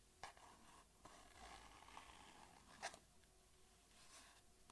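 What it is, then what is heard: Cardboard box tapped with fingernails. Long fingernails tap a small, hollow white cardboard box held in one hand. Four light, hollow clicks stand out over a soft, continuous scratchy rustle of nails against the cardboard. Each tap dies away almost at once.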